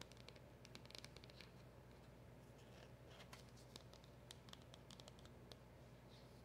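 Long acrylic nails tap and scratch across the surface and round emblem sticker of a small, hollow black cardboard packaging box. Soft, quiet clicks and dry scratches with bright edges patter irregularly over a steady low hum.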